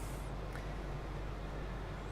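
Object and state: Nothing is struck.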